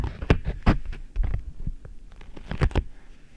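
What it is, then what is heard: Beeswax-coated cotton food wrap. A beeswax-coated cotton food wrap bunched over the microphone is pressed, scratched and crinkled by hands and nails. The result is a string of muffled, low thumps and soft crackles, with most of the energy deep in the bass and almost nothing bright. The sharpest bursts come near the start and again just before the end.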